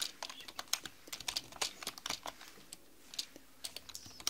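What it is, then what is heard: Plastic computer keyboard being typed on. Long manicured nails and fingertips type rapidly on a black mechanical computer keyboard with plastic keys. Around 23 quick, separate taps click out, each bright and sharp with almost no low end. Each tap dies away almost instantly, leaving a steady patter over a quiet background.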